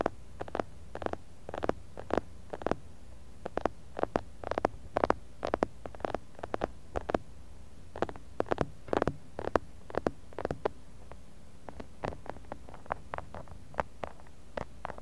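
Fingertips of both hands tap the outside of a medium clear glass jar full of kinetic sand, picked up by a small blue mic buried in the sand. The result is a steady, irregular run of short, muffled thuds centered around 470 Hz with almost no ring and little high content, over a constant low background hum.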